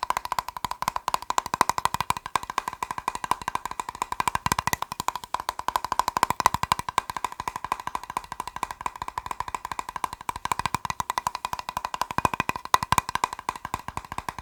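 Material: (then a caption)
Plastic. A plastic box is tapped rapidly and continuously, producing a dense run of sharp, dry clicks. Each tap is short with almost no ring and a hollow tone centered near 1 kHz, steady throughout.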